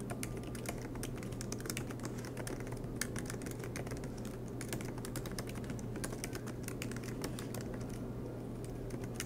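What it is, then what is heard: Laptop keyboard keys. Both hands type continuously with their fingertips on the black plastic, low-profile keys of a MacBook Pro laptop with a silver aluminum body, which rests on a green desk mat. The rapid key taps come as a dense stream of bright, short clicks over a steady low hum, and the level stays even throughout.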